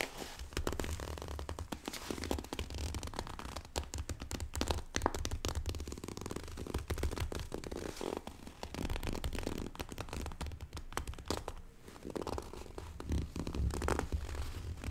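Long painted fingernails scratch and tap a small, hollow, closed printed cardboard retail box for a computer mouse held in both hands. The result is a steady stream of quick, dry clicks and scratchy crackles with a hollow, low-heavy thud beneath them.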